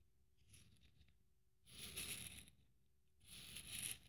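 A fingernail slowly scrapes along the bead strings of a blue beaded glitter Christmas ornament held in the hand. One faint pass is followed by two louder ones, each a bright, crackly rasp with a high sparkling edge over a quiet low rumble.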